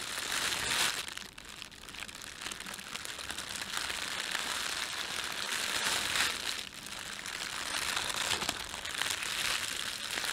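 Fingertips rub and crinkle a thin, empty, red printed plastic bread bag, producing a continuous bright, dry crackling rustle with no low end. The crinkling swells and eases in waves across the clip without any clear separate hits.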